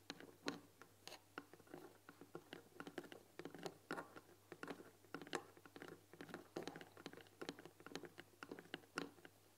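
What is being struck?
Painted wooden tea box with glass lid.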